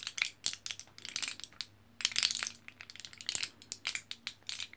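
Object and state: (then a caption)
Foil-backed plastic blister pack of capsules. Fingertips and nails scratch and press the foil back of a single orange printed, foil-backed plastic blister pack of capsules held close. Dense bursts of bright, crinkly crushing and clicking crackle in uneven clusters with tiny pauses between, each snap dying away almost instantly.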